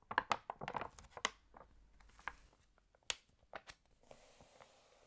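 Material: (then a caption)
Coated paper. An open glossy paper fashion magazine has its pages turned while long nails and fingertips rub across the paper spread. A quick burst of crisp crinkles and sharp nail taps, bright and centered around 1 kHz, thins into scattered clicks and a soft, papery hiss. The sounds are quiet and dry, with almost no low end.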